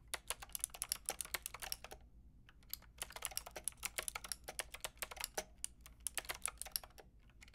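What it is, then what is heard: Plastic mechanical keyboard with round keycaps. Fingertips with long red nails tap rapidly on a Lofree plastic mechanical keyboard with a plastic frame and round keycaps. Bright, short clicky keystrokes come in quick bursts, with a brief pause near the two-second mark, over a faint steady low hum.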